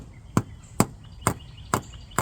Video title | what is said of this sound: Spent most of my day repairing a rear leaking wheel seal on the Ram 3500. 🔧 🔨 🔩 | No matter where you tap it, you're hearing that solid sound because it's all the way in there.